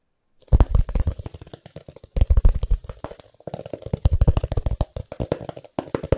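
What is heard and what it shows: A thumb taps and knocks on the closed, solid cover of a medium hardcover book with a decorative patterned cover, held in one hand. Quick runs of dull, low thumps with little ring come in bursts separated by brief pauses.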